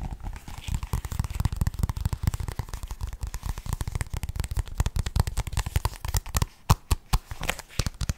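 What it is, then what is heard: Paperback book, pages riffled and cover tapped. A medium paperback Pokémon guide book with a glossy card cover has its pages riffled, then its cover scratched and tapped with fingertips and nails. The result is a dense, rapid flutter of short, dry clicks with a heavy low thump, giving way to sparser, sharper taps toward the end.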